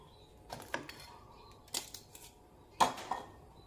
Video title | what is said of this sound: หมูสามชั้นทอดน้ำปลาทอดให้หนังกรอบๆเนื้อฉ่ำๆ น้ำมันไม่ดำ หมดปัญหาเรื่องน้ำมันกระเด็น | ฟังเสียงนะคะทุกคนกรอบมาก